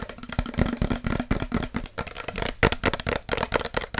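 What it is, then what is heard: Plastic spray bottle. Long acrylic nails tap rapidly on a tall, clear plastic body mist spray bottle with a pump cap, held in one hand, hollow and partly full of liquid. The result is a quick run of short, dry clicks and hollow knocks with a faint plastic rattle.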